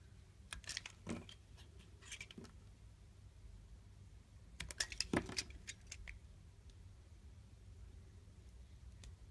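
A utility blade slowly carves and scrapes a solid mint-green rectangular bar of soap engraved with a leaf. Crisp, bright scratchy cuts come in short bursts over a low, steady background hum, with the sharpest strokes clustered in the middle of the clip.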